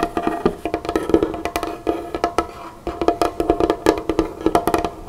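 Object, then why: Wooden tabletop. Both hands, with long fingernails and a flower ring on one, tap and drum on a large, solid, dark-stained wooden tabletop. A quick, uneven series of short, dry, hollow-sounding knocks and nail clicks plays out. Each hit dies away almost at once, with a brief lull just before the tapping picks up again.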